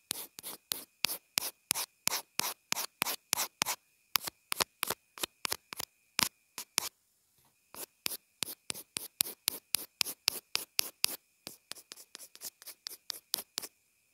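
A pencil tip rubs and scratches back and forth against a small white plastic inline earphone remote and mic, making about 45 quick, dry, bright strokes with a short pause near the middle. A faint steady tone around 2.5 kHz hums underneath, and the strokes stop without any ring.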